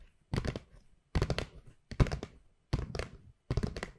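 Long pink nails tap and scratch the flat paper sides of a hollow white Pandora paper gift bag with rope handles. Five separate bursts of quick, dull, low thunks are heard, each with a faint papery scratch and almost no ring, separated by short silences.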